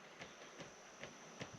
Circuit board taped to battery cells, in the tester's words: you can hear that tapping but it's you know a little loose